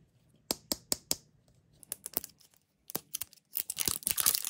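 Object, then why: Small hollow plastic toy capsule. Short pink-painted fingernails tap and click on the shell of a small, hollow, round yellow plastic toy capsule that is held closed in the fingers. Four sharp, separate taps come first, followed by lighter scattered clicks and then a dense flurry of rapid clicking at the end. Each hit is bright, dry and quick, with almost no ring.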